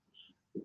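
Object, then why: Toy figure head. A plastic head of a collectible toy figure is tapped while the figure is being unboxed, giving two short, dull knocks. A faint tone and a soft tap come first, then a louder low hollow thud that dies away almost at once. The head is definitely plastic, not metal, while the body had sounded like it could be either plastic or metal.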